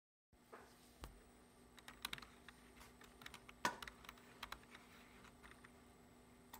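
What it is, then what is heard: Plastic computer keyboard. Fingertips press and tap the keys of a low-profile black plastic computer keyboard resting on a wooden desk, in a typing motion. About nineteen short, crisp plastic clicks come at an uneven pace, each dying away almost at once, over a faint steady hum.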